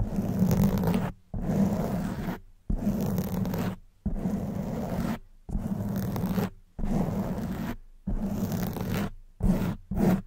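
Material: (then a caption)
Foam. Long white nails scratch the soft black foam windscreen on a silver condenser microphone. Nine rough, dense scratching bursts with a heavy low rumble are separated by brief silences, the last two short and quick.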